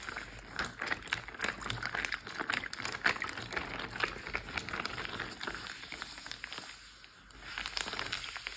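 A clear plastic Ziploc bag, roughly gallon size and full of water, lies flat on a teal surface while both hands tap, pat and scratch it with short painted nails and fingertips. Dense, quick crinkly clicks and scratches carry a bright plastic tone with little low end. The sound dips quieter briefly near the seven-second mark before the tapping picks back up.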